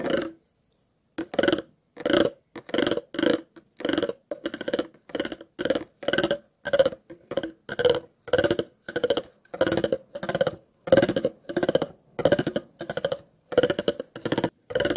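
A thin stick tool is scratched along the ridges of an empty, clear, ridged plastic water bottle with a label, lying hollow on its side. The result is a series of short, rapid ratcheting bursts separated by brief pauses, with a hollow, papery click texture centered in the mid-range around 530 Hz.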